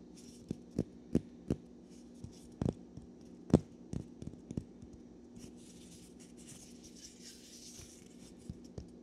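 A small, solid natural cork wine stopper is held between the fingers of both hands while nails scratch and fingertips rub its surface. Quiet, sharp little clicks and scrapes come in an uneven series over a faint steady low hum, mostly in the first half. Later there is a soft, bright rustling hiss and a couple of last taps.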